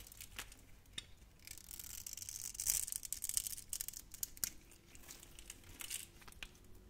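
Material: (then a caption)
Soap. A utility knife blade carves small cubes off a solid, hand-sized, grid-scored orange translucent soap bar. Bright, dry scraping and crisp cutting crackles come in bursts, with sharp little clicks as cubes break away and a faint steady tone in the later part.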